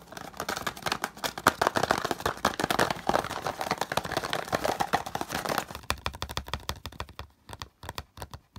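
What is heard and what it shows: A small, hollow green printed cardboard box is held, then laid on a dark cloth as fingertips tap quickly across its side panel. The result is a dense run of dry, hollow, midrange taps that die away almost at once. After about six seconds the tapping thins into sparser bursts with short pauses.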